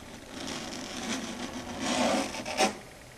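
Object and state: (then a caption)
Chalkboard scratched with nails. Long red stiletto nails scratch across a flat, solid dark grey chalkboard surface, heard close up. A dry, rasping scrape with a bright hiss builds and swells toward the middle, then ends in one sharp, louder screech before fading.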